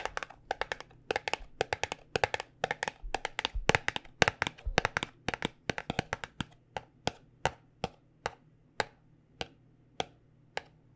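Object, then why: Paperboard cosmetic box. Long nails tap on a small white paperboard cosmetic box held close, making dry, crisp clicks with a hollow papery knock and no ring. The taps come in quick, busy clusters at first, then slow to single, evenly spaced taps, over a faint steady low hum.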